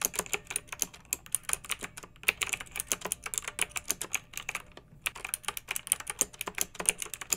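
Fingertips with long nails type continuously on a pink backlit plastic mechanical keyboard with round keycaps. About 47 crisp, bright keystroke clicks come in a quick, uneven stream, each short and dry with almost no low end. There is a brief pause just before the five-second mark.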